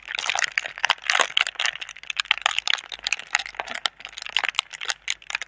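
Long red nails scratch and crinkle the thin film of a clear, hollow, soft plastic air-cushion packaging tube held between both hands. The result is a dense, steady stream of bright, crackly rustling and sharp little scratches with almost no low end, each snap cutting off instantly.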